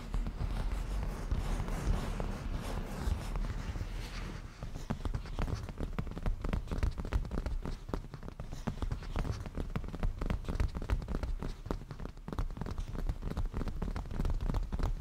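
A padded black grained-leather cushion is tapped and scratched with black-painted nails, giving soft, low, muffled taps over a scratchy rustle. The first few seconds are a denser, continuous scratching, then the sound turns into irregular clusters of quick, dull taps that die away almost at once.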